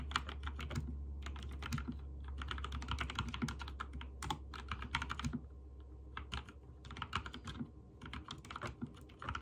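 Fingertips type quickly on a backlit mechanical keyboard with white and teal plastic keycaps, producing a dense run of short, bright clicking key presses. The bursts come in quick clusters with brief pauses between them, over a steady low hum.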